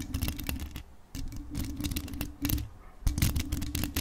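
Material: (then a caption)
Metal. Long acrylic nails tap and scratch, with both hands, the jeweled body and mesh grille of a hollow grey metal desktop USB microphone decorated with rhinestones. Rapid, dense clicks and scratchy rasps come in three bursts separated by short pauses. They sit over a heavy, boomy low rumble and a steady low hum, with bright, crisp ticks on each tap.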